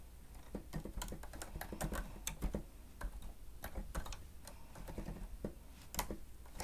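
Fingertips and nails of both hands rapidly press the keys of a grey plastic stenotype machine with a screen. The result is a fast, irregular stream of short, sharp clicks and taps that die away almost instantly, over a steady low hum.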